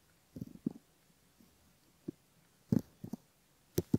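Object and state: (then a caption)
Silicone ear model. A thin bamboo ear pick gently scratches the outer folds of the left ear of a flesh-colored soft silicone binaural ear model (microphone ear) on a flat base, while fingertips hold the ear. Quiet, dull, close-up scratching bursts come in short clusters, with low rustling between them. The louder strokes carry a brief bright crackle.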